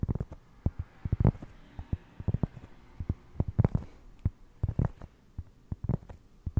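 A round solid cork trivet held behind the mic is tapped and scratched with fingertips. The result is a quick, irregular run of dull, low, deep thuds with short soft scratches between them. Each tap dies away almost instantly.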